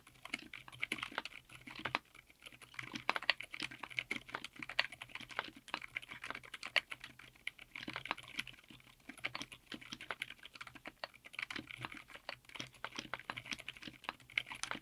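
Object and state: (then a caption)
Mechanical keyboard with PBT keycaps. Continuous two-handed fingertip typing on a 60% mechanical keyboard with Outemu Silent Yellow Jade silent tactile switches, cream MT3-profile dye-sub PBT keycaps, an FR4 plate and an aluminum case. It produces a rapid stream of soft, muted, bright clicks that stop almost instantly, with a faint low hum underneath.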